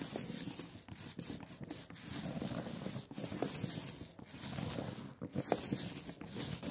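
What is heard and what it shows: A rubber brayer rolls velvety black printing ink back and forth on a glass slab, giving a sticky, tacky hiss with a bright crackle. The passes swell and briefly dip between strokes in a steady rhythm.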